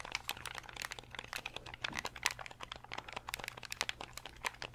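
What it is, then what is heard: Plastic game controller. A fingernail taps quickly and irregularly on the shell of a translucent purple Nintendo 64 controller made of hard, hollow plastic. The taps are sharp, bright, dry clicks that stop almost instantly, over a faint steady low hum.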